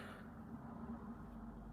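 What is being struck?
Nothing is struck.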